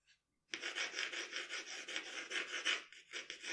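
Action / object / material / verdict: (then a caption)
scrape / paper sheet with pencil / paper / none. A pencil rubs and shades strokes across the face of a portrait on a sheet of drawing paper resting on a table. After a brief faint sound, a dense, bright, scratchy hiss starts abruptly and continues in rhythmic swells as the strokes go back and forth, with almost no low end.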